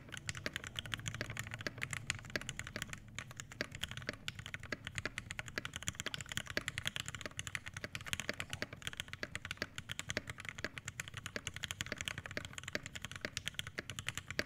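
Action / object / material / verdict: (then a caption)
tap / mechanical keyboard with plastic keycaps and brass plate / plastic, brass / none. An Iron180 80% mechanical keyboard with an aluminum case, brass plate, Hyperglide Black switches and PBT keycaps is typed on continuously with the fingertips of both hands. It produces a steady, rapid stream of short, crisp keystroke clacks. Each one has a bright, clicky top and a soft low thud underneath, and decays almost instantly.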